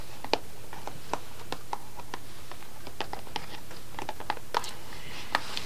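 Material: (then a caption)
Cardboard. Long fingernails tap and scratch the front of a small upright green cardboard box of chocolate sticks held in both hands. Quiet, crisp little taps with a mid, papery knock and bright clicky edges come in an irregular series over a steady low hum, with a soft scratchy rustle toward the end.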